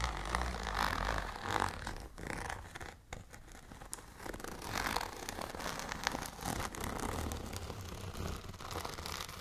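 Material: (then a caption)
Plastic. Long nails scratch and tap a tall, transparent holographic plastic zipper pouch with lettering and contents inside. The result is a steady run of crinkly scraping and light plasticky taps that are quick and uneven, with a soft low rumble underneath.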